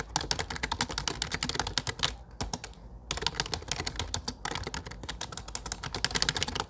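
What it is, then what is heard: Plastic computer keyboard. Fingertips type on a low-profile plastic computer keyboard with dark plastic keycaps, producing a rapid stream of short, bright key clicks with soft low thumps. The typing slows to a brief lull of quieter taps partway through, then resumes at a steady, busy pace.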